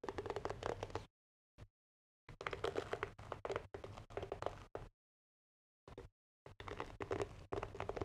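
A medium wooden paddle hairbrush with a wooden back and bristle pad is held in front of a microphone while fingertips tap and scratch its wooden back. Quick, dull, woody taps blur into scratchy rustling in short bursts, separated by brief silences.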